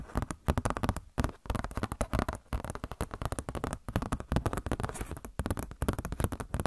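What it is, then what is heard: Glossy paper catalog. A glossy paper Blizzard Shop catalog booklet, held close in front of the face, is scratched and tapped with long nails. It makes a dense stream of quick, crackly taps and rustling scratches that are close and low-heavy and stop almost instantly, with only brief pauses between bursts.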